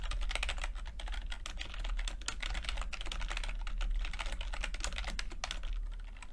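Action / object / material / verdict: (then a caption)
tap / plastic chiclet computer keyboard / plastic / none. Fingertips type steadily on a backlit chiclet computer keyboard with plastic keycaps, producing a rapid, continuous stream of short, bright plastic taps and clicks. A steady low hum runs underneath the whole time.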